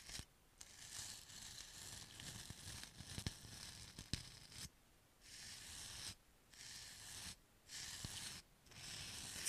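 A paint brush with pale natural bristles is brushed and rubbed across the surface of a small, solid white styrofoam-like foam block held in one hand. It makes a soft, bright, scratchy hiss that comes in repeated strokes separated by short pauses, with a few faint ticks.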